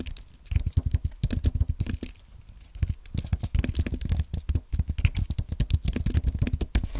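Fingertips type on a white Apple Magic Keyboard, plastic keys on a thin aluminum base, resting on a white desk. Quick, dry, low-thudding keystrokes patter in bursts, with a short quieter pause around the two-second mark before the typing picks up again.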